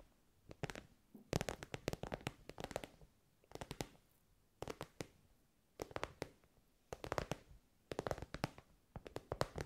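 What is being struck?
Soft synthetic-fabric pencil case.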